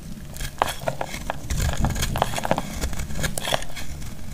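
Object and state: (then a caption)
Dry soap bar, crackly. A solid, dry purple bar of soap held in the hand is cut and scraped with a metal utility blade, and crackly flakes break off. Rapid, dry crackles and short, sharp snaps sound over a steady low rustle, each click dying away almost instantly.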